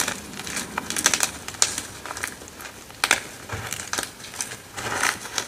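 Fingertips with long red nails break and crush solid, dry white gym chalk blocks (magnesium carbonate) over a pile of chunks and powder. The result is a run of bright, crisp crunches and crumbly crackles with very short decay and almost no low end.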